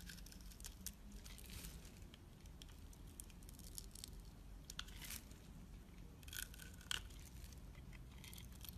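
A utility knife blade scrapes and cuts thin slivers from a pale pink, rounded rectangular, palm-sized solid soap bar held in hand. Soft, crisp shaving and crumbling sounds with bright scraping bursts continue throughout over a low background rumble.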